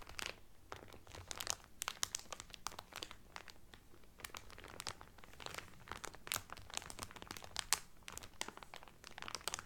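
Fingertips and nails rub and crinkle the cellophane film wrapped around a Carnival Cruise cotton towel. Quick, dry, bright crackles and snaps with almost no ring fall continuously over a faint low rumble, staying quiet and steady throughout the clip.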